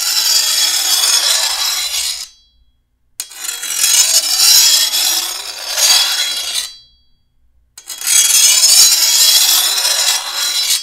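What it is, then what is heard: Steel machete blade being filed. A hand-held steel file is drawn along the edge of a long, thin, solid steel machete blade to sharpen it, making a bright, hissing rasp with almost no low end. Three separate filing strokes are heard, each lasting two to three seconds, with short silent pauses between them.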